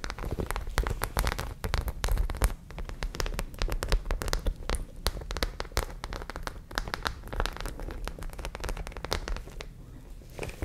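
Long nails scratch over the stud rows of a white studded, zippered fabric pouch. The result is a dense, continuous crackle of sharp little clicks and taps, like rain on a surface, with a soft low rumble underneath.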